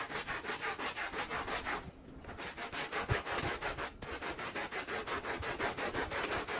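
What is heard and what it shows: A handheld blue bristle brush repeatedly scrubs a wet, dirty, patterned woven rug lying on the floor. Rapid, rhythmic strokes make a bright, gritty rubbing and scratching texture, with a short quieter lull around two seconds before the scrubbing resumes at a steady pace.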